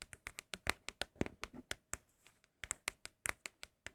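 Fingers tap on empty cardboard Apple product boxes for ASMR, making a rapid, uneven series of short, dry, crisp taps with bright highs and almost no ring. There is a brief softer lull in the middle before the tapping picks up again. The boxes are said to sound especially good.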